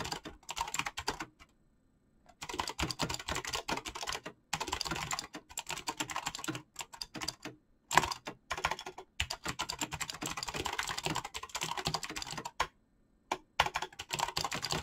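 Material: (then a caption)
Plastic. Fast fingertip typing on a black mechanical keyboard with clicky switches and PBT plastic keycaps produces a rapid, bright clatter of sharp, short clicks. The clicks stop dead with no ring, broken by brief pauses near the start and near the end.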